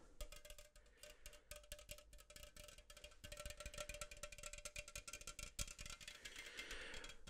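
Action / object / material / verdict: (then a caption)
tap / aluminum drink can / aluminum / none. A red and black Coca-Cola can, a standard 12 oz hollow aluminum can, is held in both hands and tapped close up with fingertips and nails. Dense, rapid clicks and taps with bright metallic ticks and a faint steady ring come in uneven bursts that grow busier toward the end.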